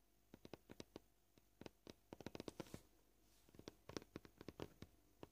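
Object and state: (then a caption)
Plastic cutting board. A fingernail taps on a scratched white plastic cutting board, making short, dry clicks with almost no ring. The taps come at a varied pace, sometimes spaced apart and sometimes in quick bursts, with a faint brushing scrape in between.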